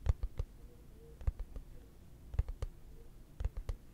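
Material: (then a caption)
Plastic. A hollow, translucent frosted plastic case held flat is tapped with fingertips and short nails, giving soft, dull, low thuds with light clicky edges. The taps come in four small clusters separated by quiet pauses, and each dies away almost at once.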